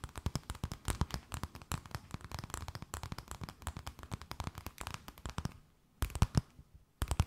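A thin, empty, clear plastic bag held between both hands is tapped, scratched and crinkled with long nails. Dense, rapid, crackling taps and crinkles fill most of the clip. A brief near-silent pause follows, then short bursts of crinkling.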